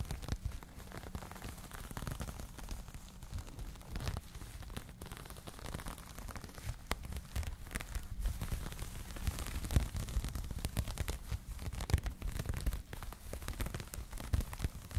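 Long nails scratch and fingertips rub the knitted surface of a soft, empty pink cotton crochet yarn bag held close to the mic. The result is a quiet, steady stream of dense, crackly scratching and rustling, heavy in low rumble with brief, slightly louder scrapes scattered throughout.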